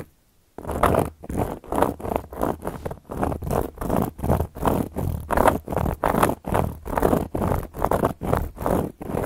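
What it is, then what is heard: Cork coaster scratched with long nails. Long gold metal claw nails tap and scratch across a solid, round, flat cork coaster. After a brief silence, a steady series of dry, rasping scratch strokes starts and repeats in an even rhythm, each swelling and fading quickly. The sound is full in the low and middle range with little brightness.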